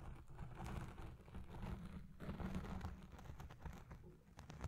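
A black foam windscreen dome on a Blue Yeti Pro microphone is scratched with red nails, the hand partly covering the dome at times. The sound is a steady, muffled scratching and rubbing, heavy in low rumble with soft, dense crackle and little brightness.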